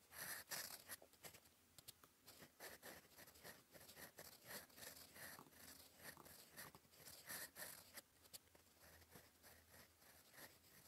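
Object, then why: Steel pen nib on a paper sheet. A gold fountain pen nib writes in black ink on a flat sheet of lined cream paper, scratching across it in cursive strokes. Soft, dry, bright scratches come in a quick, irregular run of short bursts with a faint papery hiss and almost no low end, each stroke fading fast.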